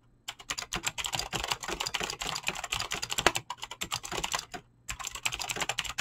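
Fast typing with fingertips and short nails on a full-size mechanical keyboard with Razer clicky green switches and dyed PBT plastic keycaps, resting on a desk. The continuous key presses make a dense stream of short, bright clicks with a brief pause near the end before the typing resumes.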